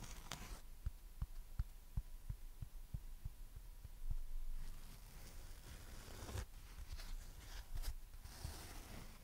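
A dry, flat, hand-sized foam sponge shaped like a watermelon slice (orange with black seeds, green and white rind) is held in both hands and scratched and tapped with long red nails and fingertips. Soft, dull low taps patter through the clip, mixed with quiet scratchy rustling and a few brighter, hissing bursts of scratching. The overall sound is muffled and close, with almost no ring after each touch.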